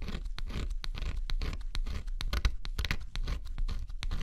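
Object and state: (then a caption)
Scratch-off cardboard puzzle being scratched. A thin pointed stylus held in the fingertips scratches the black scratch-off coating off a flat, assembled cardboard jigsaw puzzle lying on dark cloth. Quick, irregular dry scratching strokes follow one another, each a short bright rasp over a low, steady rumble.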